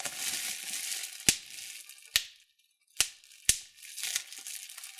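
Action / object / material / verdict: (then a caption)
squeeze / plastic bubble wrap / plastic / none. Thumbs and fingertips pinch clear plastic bubble wrap, popping single bubbles. Four sharp, bright pops stand out over a steady high crinkling hiss, with a brief near-silent pause between the second and third pops.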